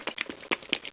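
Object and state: Paint in a small container still liquid.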